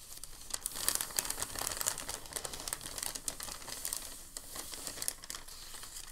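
A thin, crinkled sheet of packing paper on a table is lifted at the edge by hands, then pressed and rubbed flat. The result is a steady run of dense, bright crinkling, with many sharp crackles that stand out over a soft hiss throughout.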